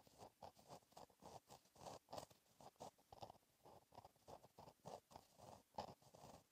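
A gel pen held in the fingertips scratches continuous cursive strokes across a flat, black lined paper page in a notebook. A quiet, steady run of short, papery scratches rises and falls with each stroke, centered in the mid range with brief bright edges.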